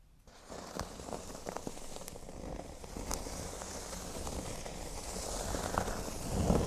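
Fingernails scratch a flat, thin, solid cork board resting on a table, first across the center and then along its top edge. The result is a soft, continuous, crackly scratching with faint sharp ticks over a low rumble, growing gradually louder toward the end.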